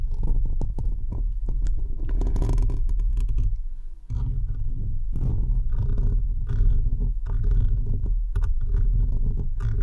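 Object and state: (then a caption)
Metal mesh microphone grille being scratched. Fingertips and nails of both hands scratch the rounded metal mesh grille of an uncovered microphone, with one hand partly wrapped around it at the start. The result is a dense, continuous rumbling and scraping, heavy in the deep lows, with a faint steady tone near 1 kHz. It briefly drops away around the four-second mark before resuming.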